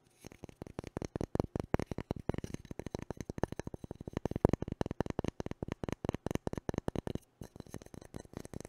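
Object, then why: Wooden cooking spoon. A long, solid, light-coloured wooden cooking spoon is held in both hands while fingertips and nails scratch and tap along its handle and bowl. The result is a rapid, steady stream of short, dry, woody clicks and scrapes, mostly low and mid in tone with almost no ring. A brief pause comes near the end before the tapping resumes.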